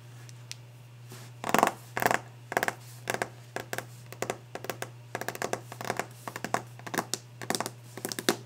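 Long painted nails and fingertips tap and scratch quickly and hard across the glossy varnished surface of a large solid wooden desk top. The result is a rapid, irregular run of short, dry clicks and scraping bursts with bright edges and almost no ring, over a steady low hum.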